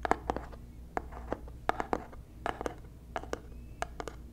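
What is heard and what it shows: A small white cardboard box held close to the mic is scratched and tapped with fingernails, giving about fifteen quick, dry taps with a hollow, mid-pitched knock and crisp bright clicks. Soft scratching fills the gaps over a steady low hum, and each tap dies away almost instantly.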